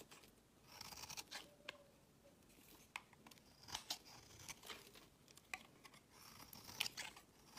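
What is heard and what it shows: A metal knife blade shaves the edge of a solid, light green, rounded bar of soap held in the hand, peeling off curls and flakes. Quiet, bright, crisp scraping strokes come in short bursts with dry crunching and faint tearing textures, with almost no low end or ring.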